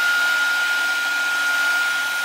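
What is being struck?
Nothing is struck.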